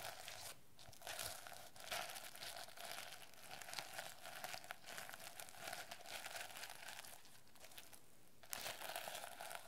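A notebook with a plastic sequin cover is rubbed and scratched with long nails, flipping the sequins back and forth. The result is a continuous, bright crinkling and scratching texture with quick clicky flicks and a faint steady tone throughout.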